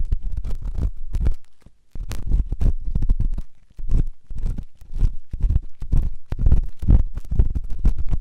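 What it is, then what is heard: Silicone ear scraped with a metal pick. A metal ear pick scrapes inside the ear canal of a white solid silicone ear on a binaural microphone. Dense, muffled, bass-heavy scratching and crackling comes in rapid rustling bursts, with two brief near-silent pauses before the scraping resumes.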